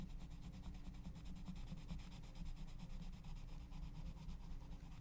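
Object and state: Colored pencil scratching on a paper page.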